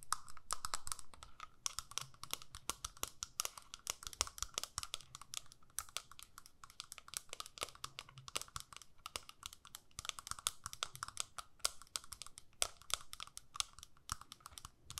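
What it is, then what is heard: Plastic eyeshadow palette. Long nails tap rapidly and steadily on a small, flat, hollow plastic eyeshadow compact with a clear lid. The taps are quiet, dry, bright clicks that stop almost instantly, with a faint hollow plastic tone in the midrange. A soft low rumble runs underneath throughout.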